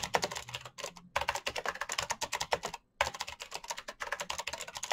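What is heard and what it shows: Fingertips type fast on a black plastic mechanical keyboard with backlit keycaps, producing rapid, bright clicking keystrokes. The typing comes in quick bursts with two short pauses.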